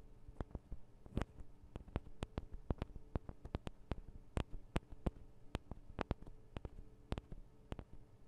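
Long acrylic nails of both hands tap the small hollow metal microphone capsules on a Tascam DR-40 recorder, producing about 28 quick, separate, irregular taps. Each is a sharp, dry tick with a dull low knock and a bright edge that dies away almost instantly, over a faint steady low hum.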